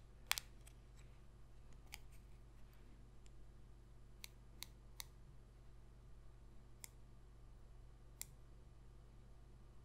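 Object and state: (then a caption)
Holographic cardboard trading card. A single small, thin, glossy holographic cardboard football trading card, held between fingers, is tapped with long pointed red nails. Seven sparse, sharp, bright clicks ring out over a quiet, steady low hum.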